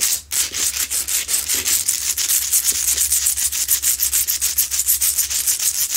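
Long nails scratch quickly over the rough sides of a medium, solid, lit Himalayan salt rock lamp. The strokes come as a fast, uneven run of bright, hissy rasps, each one short and dry. A faint steady low hum sits underneath.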